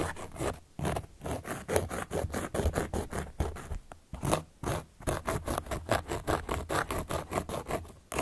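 A carving tool, held upright by long fingernails, traces and scratches across the surface of a large, round, solid cork board. It makes a rapid, uneven series of short, dry, rasping strokes, heavy in the low and mid range with little bright content. The strokes die away almost instantly, with a few brief pauses between bursts.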